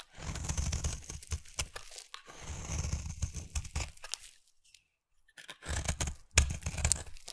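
A utility knife blade shaves curls off the edge of a solid, round, peach-coloured bar of soap held in the hand. Each stroke makes a dry, crunchy scraping and tearing sound with a low, thumpy body and a bright, hissy top. The strokes come in three bursts, with a short silence before the final one.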